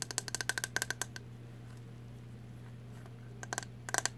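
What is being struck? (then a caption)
Plastic hairbrush back. Long nails tap the hollow, translucent green plastic back of a hairbrush with bristles, making quick runs of crisp, bright, clicky ticks with a hollow plastic ring. A flurry of fast taps fades after about a second, leaving a steady low hum, then a few more taps return near the end.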